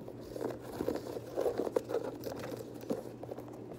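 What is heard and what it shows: Fingers scratch the laces and lace locks and tap the perforated leather upper of an empty dark teal leather Air Jordan 6 high-top sneaker. The result is a run of soft, dry, crinkly scratches and light taps, mostly mid-pitched with little bass and no ring.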